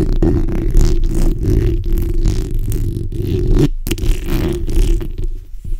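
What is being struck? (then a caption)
Steel mesh microphone grille. The backs of long acrylic nails from both hands scratch the hollow steel mesh grille of a fist-sized black microphone. The result is a dense, continuous scraping texture with a heavy, throbbing low-end rumble. It is nearly steady throughout, apart from a brief drop in sound just before the four-second mark.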